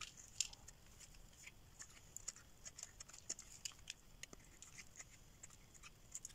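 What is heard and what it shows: A solid pink rectangular bar of dry soap, held in the hand, is scraped and carved with a metal blade, leaving flakes on its surface. The quiet, dry, bright scraping comes as a string of short, crisp ticks and rasps with almost no low end and no ring.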